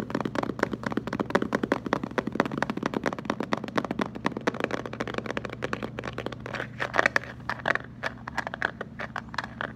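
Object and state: Plastic water jug tapped.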